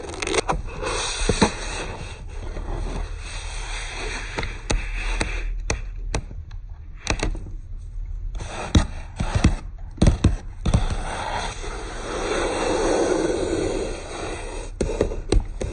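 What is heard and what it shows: Fingertips and fingernails rub and scratch across the paper page of an open hardcover book, a solid bound stack of paper, lying on a wooden table. A steady dry scratching and rustling runs throughout, broken by many sharp, short taps and clicks that fade almost instantly.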